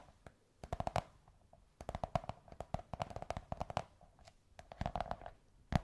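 Long white nails tap and scratch the curved surface of a large beige kraft cardboard tube in quick, uneven bursts with short pauses between them. Each tap is a soft, hollow, low thud with a faint ring in the upper midrange. The tapping stays quiet and dry, with almost no high end.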